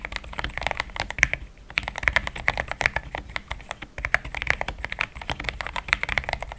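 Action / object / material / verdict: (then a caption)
tap / plastic mechanical keyboard with thick plastic keycaps / plastic / none. A compact pink-and-white plastic mechanical keyboard with thick plastic XDA keycaps, a polycarbonate plate and linear switches sits on a desk mat and is typed fast with the fingertips of both hands. Dense, bright clacks with a strong upper-mid tone and very short decay come in quick bursts, with a brief pause near the middle.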